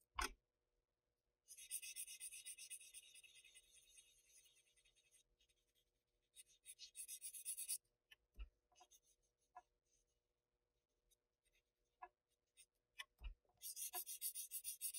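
A white paper blending stump is rubbed over graphite shading on a flat sheet of Bristol paper, making soft, bright, scratchy rasping strokes. Bursts of rubbing alternate with quiet pauses, broken by a few sharp taps and low thumps.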